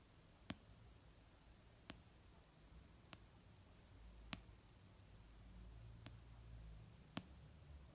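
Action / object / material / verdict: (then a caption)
tap / paperback book / paper / none. Slow fingertip and nail tapping on an orange paperback novel of solid paper resting on a blanket. Six short, dry, bright taps land at unhurried, uneven intervals, each dying away almost instantly over a quiet, low background rumble.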